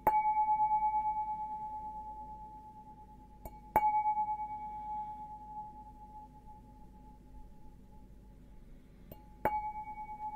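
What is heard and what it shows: A clear, empty stemmed glass beer goblet with a green logo, held up by its stem, is tapped four times with a fingertip or fingernail. Each tap gives a clear ringing tone near 860 Hz with a fainter higher overtone, fading slowly over several seconds. One tap is much lighter than the others.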